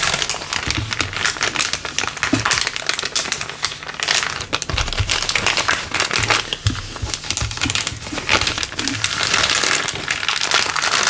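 A thin, clear, empty LDPE plastic bag is pressed flat, then gathered and crumpled in the hand above a wooden table. Dense, bright crinkling and crackling runs steadily for about eleven seconds, with many quick, dry snaps and little low end.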